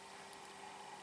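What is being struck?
Nothing is struck.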